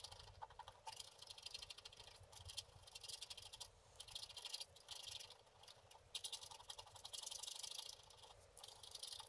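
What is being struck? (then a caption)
Scratch-art paper card scraped with a wooden stylus. A wooden stylus scratches continuously across the black coating of a flat, book-page-size scratch-art board with a printed layer underneath, resting on a table while the other hand holds it. The sound is a quiet, bright, dry scratching that comes in dense bursts with brief lulls between strokes.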